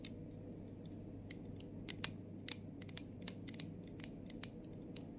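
Long nails tap and scratch along the side and label edge of a clear plastic body mist bottle partly filled with liquid. Quick, dry, bright clicks and scrapes come in an uneven scatter over a steady low hum, each dying away almost instantly.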